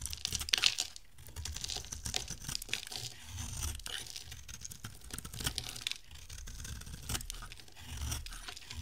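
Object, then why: Bar of soap shaved with a blade. An oval, solid yellow bar of dry soap with a silver coating is held in the hand and shaved into thin strands with a box-cutter blade. A steady run of dry, crunchy scraping and tearing strokes is heard, bright and crisp, with brief louder bursts over a soft low rumble.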